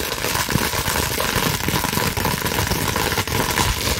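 A clear plastic bubble wrap sheet is scratched and squeezed with fingers and long nails. A dense, steady crackling and rustling runs throughout, with bright scratchy texture over a low rumble and a few sharper pops standing out.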